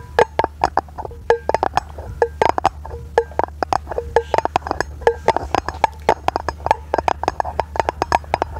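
A round, hollow, brushed aluminum lid, held in both hands, is tapped with long nails in a rapid series of about 46 short, bright clicks. Each tap gives a brief metallic ping around 875 Hz that dies away almost at once, over a faint steady low hum.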